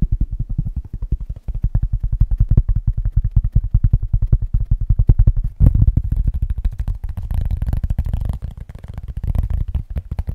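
A round, flat, solid cork board coaster about the size of a plate is held up in front of a microphone and tapped fast with the fingertips of both hands. The result is a steady stream of rapid, dull, low thumps with almost no ring, and a brief louder burst of taps a little past the midpoint.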